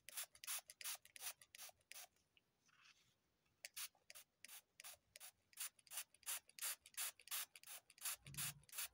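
Long nails scratch and rub the surface of a dark green floral foam brick held in the hand, making about 34 short, bright, hissing scrapes in a steady rhythm. A brief quieter stretch of faint rustling falls near the start, and a soft low thump sounds near the end.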